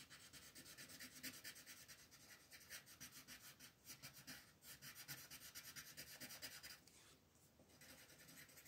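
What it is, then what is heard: Colored pencil shading on a paper page. A pink wooden colored pencil rubs back and forth, shading the petals on a flat white paper coloring page while the other hand rests on the sheet. The quick, scratchy strokes make a bright, papery rasp in a loose, uneven rhythm, easing off briefly near the seventh second before resuming.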